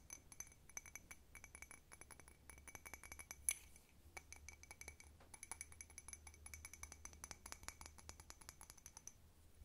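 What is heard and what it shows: A small handleless blue ceramic cup with a white snowflake pattern, hollow and apparently empty, is held in the hands and tapped quickly on its sides and rim with long red-painted nails. The result is a steady stream of rapid, bright, glassy clinks, each very short with a thin high ring, over a faint low hum. One sharper tap stands out near the middle, just before a brief pause.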